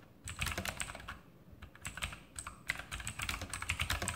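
Fingertips type continuously on a full-size RGB Sharpshooter X2000 mechanical keyboard with Outemu blue switches and plastic keycaps on a metal top plate. About two dozen quick, bright, clicky key presses, each with a soft low thock underneath, stop dead with almost no ring, after a brief quiet start.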